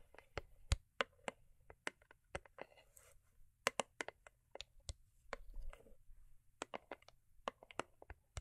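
Long acrylic nails tap and scratch the sides of a small, hollow, cube-shaped rigid cardboard gift box covered in holographic foil paper. About 21 quick, sharp clicks come in an uneven rhythm, each with a bright edge and a hollow mid-range body that dies away almost instantly. Soft scratchy rustles fill some of the gaps between taps.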